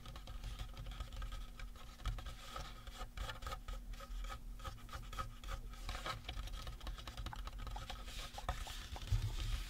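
Fingertips and short nails rapidly tap and scratch the face of a life-size painted resin or plastic Halloween prop skull, working around the eye sockets and teeth. The result is a quiet, dense patter of soft clicks and dry scraping over a steady low hum, with short strokes that die away almost at once.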